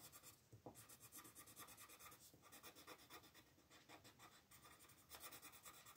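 A teal colored pencil makes rapid, short scratching strokes to fill in shapes on a thin printed paper mandala sheet lying flat on a dark wooden table, while the other hand with red nails holds the sheet still. The result is a quiet, dry, bright rasping in quick rhythmic bursts, with brief lulls between runs of strokes.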